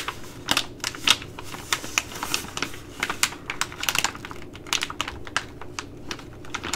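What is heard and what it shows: A Ready Rice plastic laminate pouch, held in both hands, is tapped and scratched with long glittery nails. About two dozen sharp, bright clicks ring out over a soft crinkling scratch, each dying away almost at once, with most energy high around 3 kHz.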